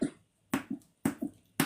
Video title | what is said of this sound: Bangers with Red Cabbage and Apples with Caz (Cooking_with_Caz) on SNL - FoodtokTV | it sounds Hollow pretty tough